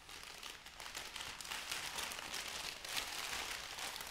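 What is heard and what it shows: Flat hands with long nails press, smooth and lift a folded bundle of white crinkly wrapping paper. A steady, dense crinkle and rub plays throughout, bright and papery with almost no low end, with soft rises and dips but no separate hits.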